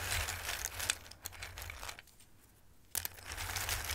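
Fingertips with long red nails rub and shuffle through a dark bowl full of hard, dried tricolore Christmas-shaped raw pasta pieces. Dense, bright clattering and crunchy rustling fill the clip, with a few sharp ticks. There is a quieter lull just past two seconds before the shuffling starts up again with a sharp burst.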